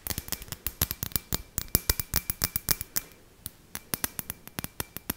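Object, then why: Hollow glass ball ornament with string lights inside. Long fingernails tap and scratch the surface of a clear, hollow glass light ball ornament with string lights inside, held in both hands. About 31 short, dry, bright clicks come in quick irregular bursts, with a brief pause near the middle and a faint steady tone near 2.4 kHz underneath. Each tap dies away almost instantly with no ringing.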